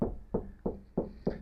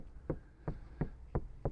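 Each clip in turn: First: untreated van rear door, tinny. Second: soundproofed van door, solid.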